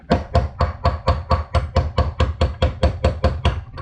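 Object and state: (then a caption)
Wheel bearing not yet seated. A steel wheel bearing is tapped around its lip into the aluminium hub of a dirt bike wheel, with the parts at different temperatures, while it is still being driven in. About 17 quick, evenly paced taps give dull, low thuds centred near 86 Hz that die away almost at once. The bearing has not yet seated.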